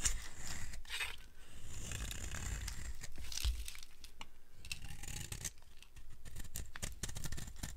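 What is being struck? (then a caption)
Bar of soap scraped with a blade. A solid, dry yellow bar of soap held in the hand is scraped with a utility blade, and crumbly shavings come off. A continuous run of dry, scratchy scraping and crunching carries low rumble alongside bright, crisp edges.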